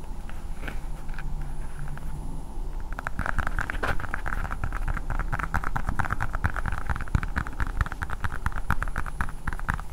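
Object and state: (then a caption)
Plastic toy ball. Long painted nails tap a hand-sized, hard blue plastic ball with a Spider-Man sticker held close to the microphone. Sparse clicks in the first few seconds give way to a dense, rapid patter of sharp, dry taps over a steady low rumble.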